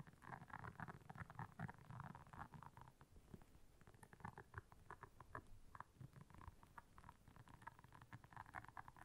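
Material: Silicone.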